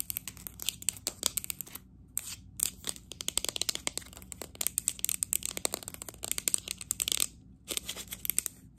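Long acrylic nails tap fast on a hollow, apparently empty green matte textured ceramic cup or small planter held in both hands. The bright, sharp clicks come in dense, rapid bursts with no ringing, broken by brief pauses near 2, 2.5 and 7.5 seconds.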